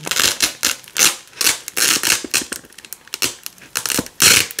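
Fingers with long nails peel red and white nylon hook-and-loop strips off a black loop panel. It sounds like a run of bright, crackly ripping bursts, some long and some short and clipped, with almost no low end.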